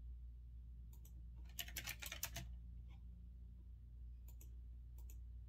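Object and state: Mechanical keyboard typing.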